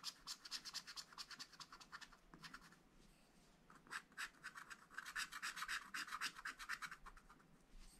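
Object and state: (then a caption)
Scratch-art paper being scratched. A wooden stylus scratches the black coating off a wax-coated scratch-art paper pad lying flat, in quick short strokes. The quiet, dry scratches come as a rapid, uneven series of bright, hissy bursts with almost no low end. They pause briefly near the three-second mark, then return denser and slightly louder.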